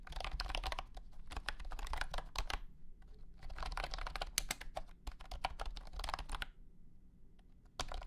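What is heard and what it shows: A blue and white honeycomb keyboard with hexagonal plastic keycaps in a hollow plastic case is typed on with the fingertips of both hands. Dense bursts of short, bright, clacky keystrokes come in two long runs, each followed by a brief pause, over a steady low hum. A few stray taps sound near the end, then a final quick flurry.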